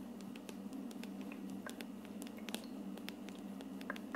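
Long dark nails quickly tap and scratch the hollow frosted plastic dome of a plastic aroma diffuser. The result is a quiet run of sharp, bright clicks and scrapes that die away almost at once, over a steady low hum.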